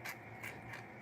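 A shimmer paint container is shaken, giving repeated dry, hollow rattling bursts with a bright tone around 2 kHz and no sloshing. It sounds empty because no liquid is left, so the container is thrown out.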